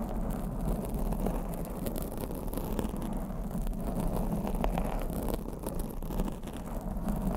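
Long blue acrylic nails scratch a black foam microphone windscreen from both sides. The result is a continuous, dense, low rustling rumble with faint crackly textures and no separate hits, holding steady throughout.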